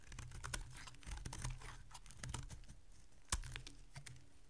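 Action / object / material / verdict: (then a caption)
scrape / bar of soap cut with a small blade / soap / none. A small metal blade cuts and shaves a solid green dry soap bar, breaking off chunks and flakes. Quick, dry, crisp clicks and scrapes sound like rapid tapping over a steady low hum. One sharp, louder crack stands out near the end.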